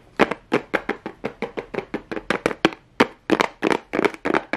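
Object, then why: Cardboard box with plastic rhinestone strip. Fingernails tap rapidly on a pink plastic rhinestone strip stuck to a small hollow cardboard box held close up. Twenty-four short, dry clicks come in an uneven, quick rhythm with a hollow midrange knock and a bright edge. Each one dies out almost at once.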